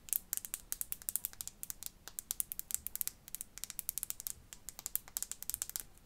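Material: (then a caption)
Glass. Long fingernails tap and scratch a small glass perfume bottle, partly filled with pink liquid, with a faceted clear cap. A quiet, rapid, uneven stream of dozens of sharp, bright clicks and scrapes follows, each dying almost instantly with barely any low end.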